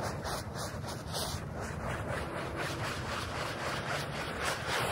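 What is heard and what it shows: A small handheld bristle brush scrubs a very dirty, muddy, flat, thin, wet rectangular polyester rug with a space print, covered in soap foam, in quick short strokes. The result is a steady, continuous wet scrubbing rasp with broad noise from low to high, with no separate hits standing out.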